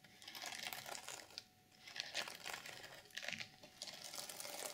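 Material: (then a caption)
Sequins. Long nails scratch downward across the flat reversible sequin fabric cover of a journal. Dense, bright crinkling scrapes come in uneven bursts with brief quieter gaps, mostly high-pitched with almost no low end.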